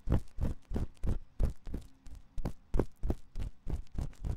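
A thin metal ear pick scratches inside the ear canal of the white silicone ear on a 3Dio binaural microphone. The result is a steady run of short, muffled, rumbling scratch strokes, about three per second, heavy in the low end with little brightness and brief quiet gaps between strokes.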